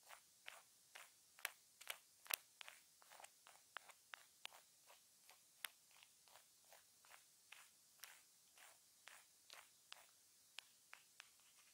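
A small hollow white plastic earphone inline remote with a mic hole, taped to a wooden table with clear tape and serving as the recording mic itself, is tapped and scratched with a flat wooden stick. Sharp, bright, clicky taps with almost no low end recur steadily throughout, each dying away instantly, with a few louder hits standing out.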